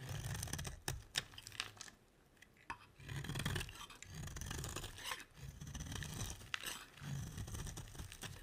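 A solid green bar of soap is shaved and scraped with a metal utility blade, and curls fall off as it is cut. Soft scraping strokes come in bursts with a low rumble underneath, broken by sharp bright clicks and brief quiet pauses.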